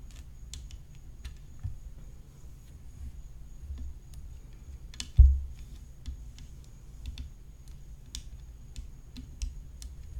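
Long fingernails tap and scratch the hollow composite rim of a graphite composite tennis racket whose head is decorated with rhinestones. Light, scattered clicks and brief scratches sit over a low, steady rumble and a faint constant high tone. One louder, sharper tap stands out about halfway through.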